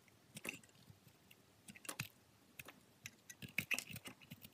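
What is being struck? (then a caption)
Glycerin soap bar scraped with a steel blade. A steel utility-knife blade shaves and scrapes curls off the surface and edges of a solid green translucent glycerin soap bar held in fingers with long pink nails. Quiet, bright, crisp scraping and crackling comes in short bursts with tiny clicks that stop almost at once.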